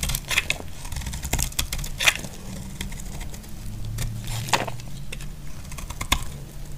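A utility knife blade shaves curls off a solid, dry, brown rectangular bar of soap held in the hand. Short, crisp scraping clicks and brittle snaps with a bright edge near 2.5 kHz stand out over a steady low rumble. Each cut dies away almost instantly.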